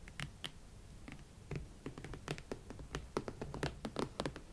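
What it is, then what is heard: Leather platform boots. Long nails scratch and tap the shafts and platform tops of a pair of hot pink leather Valentino Club Platform boots with thick hollow platform soles. A quiet, close run of soft scratches and short, dry taps with bright clicks on top and a low, hollow knock from the platforms.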